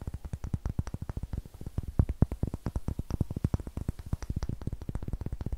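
Fingertips and nails rapidly tap and scratch a solid, light pine wood block held in the hand. Dozens of short, dry, low thuds follow one another with almost no ring, and faint scratchy texture sits between the taps.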